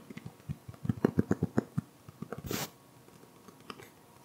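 A solid green hardcover book with a cloth-textured cover is held close to the microphone while the fingertips of both hands tap its cover. About fifteen soft, dull, low thumps come in an uneven flurry, loudest around the middle. A brief bright, hissy burst follows before a few faint taps trail off.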